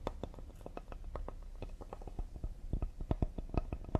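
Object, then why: Cedar wood serving board. A cedar wood serving board is tapped quickly and delicately with the fingertips. The result is a rapid, uneven run of soft, dull wooden taps. Each tap has a low, woody body and dies away almost instantly.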